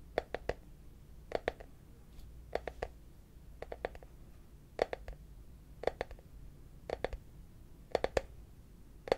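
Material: Plastic.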